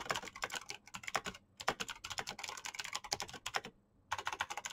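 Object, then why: Plastic mechanical keyboard. Fingertips type rapidly on the keycaps of a black plastic mechanical keyboard with clicky green switches, producing a dense stream of sharp, bright clicks that each die away almost instantly. The typing breaks briefly near 1.5 seconds and again around 3.8 seconds before resuming at the same quick pace.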